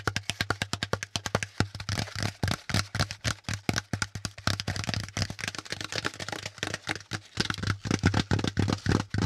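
A hollow, pleated brown corrugated cardboard packaging insert is tapped rapidly and unevenly with the fingertips, partly close to the mic. Each tap is a short, dry, hollow knock with a soft low thump and a crisp bright click, dying away almost at once.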